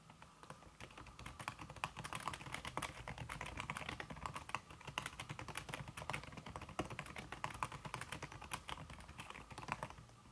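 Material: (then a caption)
Silicone. Fast fingertip typing, with red-painted nails, on a slim backlit aluminum keyboard whose keys are covered by a red silicone skin. The result is a dense, steady stream of soft, dull key taps that stop quickly. A faint low hum runs underneath.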